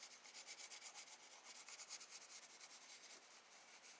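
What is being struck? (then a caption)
Graphite pencil on paper sketchbook page. A wooden graphite pencil held in the hand shades the sky on a spiral sketchbook page of drawing paper resting on a desk. Quick, repeated rubbing and scratching strokes make a soft, bright, hissy texture with almost no low end. The rhythmic pulses run steadily for the whole clip at a quiet level.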